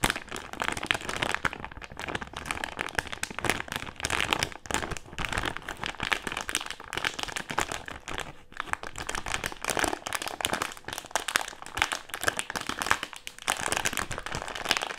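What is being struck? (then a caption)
Plastic-film candy bag with gummies inside. A medium printed plastic-film Haribo gummy candy bag, partly full of gummies, is held in both hands and crumpled and crinkled with fingertips and short nails. The result is a dense, bright, crackly crinkling that runs steadily throughout, with brief dips in the rustle along the way.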